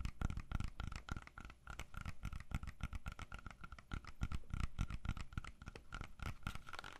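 Fingernails tap and scratch the skin of a whole, solid red-yellow apple held close to the mic. It makes quick, irregular, dull low thumps mixed with soft scratchy rasps and a faint steady tone around 1.3 kHz, all quiet and dry with almost no ring.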